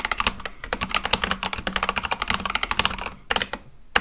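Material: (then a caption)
Plastic. Both hands type fast with their fingertips on a full-size Akko mechanical keyboard with white and light-blue plastic keycaps on a black case. A rapid run of short, bright, clacky keystrokes dies away almost instantly, with little low end. The typing thins and softens briefly near the end before one last sharp keystroke.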